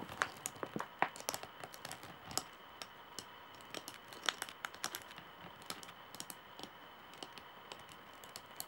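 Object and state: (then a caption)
Wooden bag handle tapped with nails. Long nails tap on the solid wooden handle of a straw bag held up, making a quick, irregular run of dry clicks and taps. Each tap is short and bright with almost no ring, heard over a steady faint hiss.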